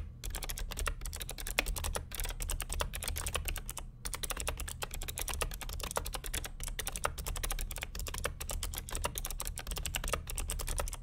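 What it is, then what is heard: Plastic mechanical keyboard. Fingertips of both hands type continuously on the plastic keycaps of a vintage beige NMB RT8255C W+ mechanical keyboard with Hi-Tek "Space Invader" clicky switches and a hollow plastic case. A rapid, steady stream of sharp, bright clicks with brief pauses sits over a constant low rumble, with each click dying away almost instantly.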